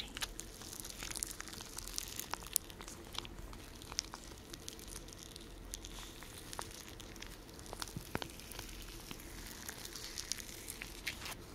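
A small blue plastic gel cold pack (4.5 x 10.5 in) filled with partly frozen, slushy gel is held close and squeezed and crunched with fingertips and short nails. The result is a quiet, steady stream of soft crinkling and icy crunching, dotted with many sharp, bright clicks and crackles over a low rustle.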